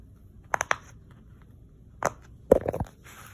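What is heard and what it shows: Fingertips press and pop the hollow bubble domes of a round, hand-sized rainbow silicone pop-it toy lying on a wood-look floor, possibly also tapping them. Three quick, dull pops come first, then a single pop, then a rapid cluster of soft popping snaps centered around 500 Hz with brief bright clicks. Each sound dies away almost instantly against a quiet background.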